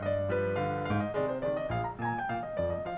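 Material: Nothing is struck.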